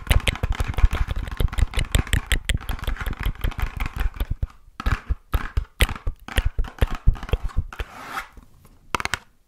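A small, hollow pink printed cardboard box labelled "Wonder Rose" is tapped and scratched with long nails close to the microphone. Rapid, dense, dull tapping fills the first four seconds. After that come sparser clusters of taps with brief scratchy rustles between them.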